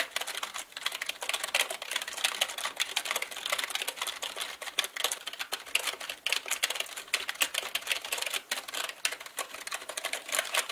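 Both hands type with the fingertips on a black mechanical computer keyboard with plastic keycaps. Quick, bright, dry clicks sound in dense, uneven bursts, with almost no low end and no ring after each keystroke.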